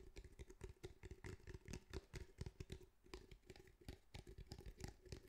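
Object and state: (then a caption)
Fabric-covered cylindrical speaker. Fingertips tap rapidly on the grey fabric-mesh surface of a cylindrical speaker held up close. The result is a steady stream of soft, dull, low thumps with very short decay and little brightness, over a faint constant mid-pitched tone.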